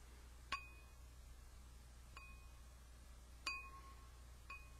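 A small, clear drinking glass, hollow and apparently empty, is held by hand beside the microphone and tapped four times with a yellow plastic highlighter. Each tap gives a short, bright, chime-like ring, with tones near 1 kHz and 2.5 kHz. The rings fade quickly over a steady low hum, and the first and third taps are the loudest.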